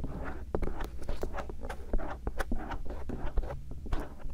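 A bamboo earpick, held by the fingertips, scratches around the concha and canal area of a silicone ear shell on a binaural microphone. Soft, close scraping and brushing strokes repeat in quick succession, with a low, muffled rumble underneath.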